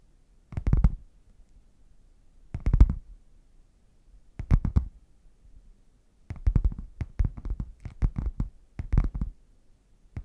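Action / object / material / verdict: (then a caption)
tap / padded faux leather zip case / faux leather / none. Fingertips and nails tap and scratch the printed front of a red padded faux leather zip case, hollow and closed, held upright. Short bursts of dull, low, hollow thumps with quick, brightly scratchy edges are separated by quiet gaps, then become denser and more continuous toward the end.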